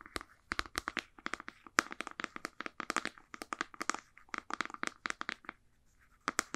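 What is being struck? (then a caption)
Plastic supplement jar with screw lid. A white plastic supplement jar with a blue label and a ridged white screw lid is held in both hands and tapped and scratched with long painted nails on its body and lid. A fast run of about 38 quiet, dry, clicky taps with crinkly scratches sits mostly in the mid range with a bright top and dies away instantly. There is a brief lull near the end before a final burst of taps.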